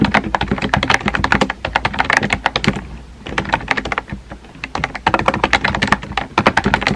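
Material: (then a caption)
Plastic. Fingertips type quickly on a small pink and white plastic keyboard with round plastic keycaps and a hollow body. The rapid, clacky key taps come in bursts with brief pauses around the middle, each tap short and dry with a hollow low-mid knock.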